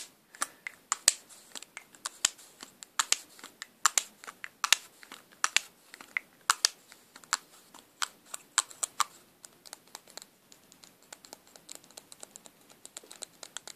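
A small, closed, hollow black and silver lipstick tube of metallic plastic is tapped and scratched with pink nails. Many quick, dry, bright clicks and scratchy ticks follow one another in an irregular rhythm with almost no ring and no low end.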